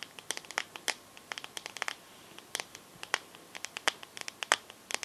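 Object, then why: Smartphone glass back tapped with fingernails. Long nails tap and scratch the glass back of a teal smartphone held sideways. About thirty short, bright clicks land at an uneven pace, each dying away almost instantly, with faint scratchy rustle between them.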